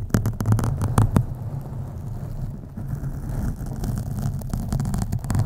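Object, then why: Foam microphone windscreen. Long acrylic nails on both hands scratch the black foam windscreen of a USB microphone. The result is a deep, muffled rumbling rasp concentrated in the low end, with sharper scratchy bursts near the start and end and a softer, steadier scrubbing in between.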